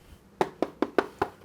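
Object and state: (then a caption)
Felt-covered sheet metal that knocks like wood. A felt-covered sheet metal plaque, a silver play button award, is knocked on its felt surface, giving five short, dull knocks with a sixth starting as the clip ends. Each knock is a dry, hollow midrange tap with almost no ring, sounding much like knocking on wood.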